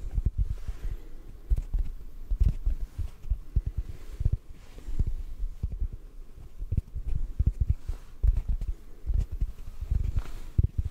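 A yellow sponge held in one hand is tapped with the fingertips of the other hand. The result is soft, muffled, low thumps in quick irregular bursts, each dying away almost at once against a faint low hum, with nothing bright or high.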